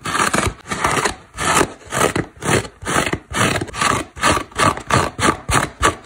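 A large, dry synthetic foam car sponge, a solid porous block, is scratched and dug into with long black nails, with small crumbs coming off. Repeated rough scraping strokes rise and fall in a steady rhythm, each a dry, crackling rasp with a bright hiss on top.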